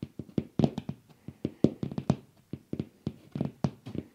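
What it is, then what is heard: Glass ceiling light dome. A hollow frosted glass bowl shade on a ceiling-mounted light fixture is tapped and scratched from below with fingertips and nails, picked up by wrist-worn microphones. About twenty quick, dull taps come in an uneven rhythm, each with a low, hollow body around 215 Hz and a faint bright click. The taps die away almost instantly, with soft scratching between them.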